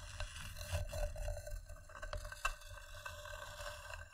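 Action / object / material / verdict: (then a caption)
scrape / wooden bowl / wood / none. Long dark-painted nails and fingertips scratch and tap the inside and rim of an empty, hollow, medium-sized round bowl of polished wood resting on green fabric, with a second bowl untouched beside it. A steady, quiet rasping scrape runs throughout over a low rumble, broken by short, dry taps that die away almost at once. The sharpest tap stands out about halfway through.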